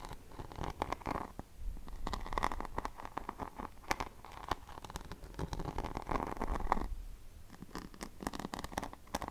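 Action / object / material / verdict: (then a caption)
scrape / rhinestone-covered hairbrush back / rhinestone / none. Fingertips and long painted nails tap and scratch across the flat back of a paddle hairbrush covered in glued rhinestones and pearls, with a silver handle, held in the other hand. Quick, dense clicks and scratchy rasps patter over a soft low rumble, with a faint bright ring near 950 Hz. Each tap dies away almost at once.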